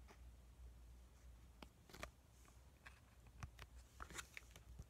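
A small, flat white sheet-mask sachet of laminated plastic and foil, filled with a soaked mask, is held in both hands and tapped and squished with the fingertips. Soft crinkles and short, sharp taps with bright clicks rise over a steady low hum. The result is quiet and close, with each tap dying away almost at once.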